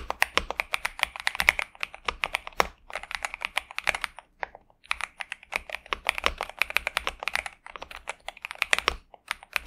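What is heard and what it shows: Both hands type continuously with their fingertips on a pink and purple Xinmeng M71 65% mechanical keyboard with TTC Superman switches and plastic keycaps, resting on a desk mat. Rapid, bright, clacky keystrokes each die away almost instantly, with brief pauses near the middle and end.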